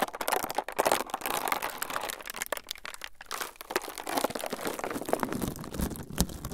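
A thin, clear transparent plastic film sheet is held in both hands in front of the recorder mics while fingertips squeeze and crumple it. The result is a continuous crinkling made of many sharp, dry crackles with brief gaps, centered in the mid range with bright edges.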